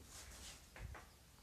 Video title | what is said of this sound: Ft. Clinch Exploration and Camping with Pearl Jelly | You hear the difference of that? That's solid.